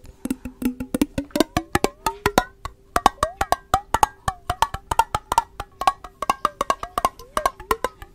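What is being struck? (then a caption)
Glass mason jar with metal lid. Long nails and fingertips tap the sides of a clear, hollow, empty glass mason jar with a metal lid, held close to the microphone. Dozens of quick, dry taps sound over about eight seconds, each with a bright click and a brief hollow ringing tone near 800 Hz. The rapid rhythm sounds almost like a wood block.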